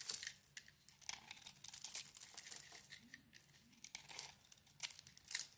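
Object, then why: Bar of soap. A steel utility blade scrapes and shaves a hand-held solid yellow soap bar with a green speckled coating embossed "Hand wash." Bright, dry crackling and crinkly scraping come in quick, uneven bursts with almost no low end. Each shaving stroke stops short with no ring.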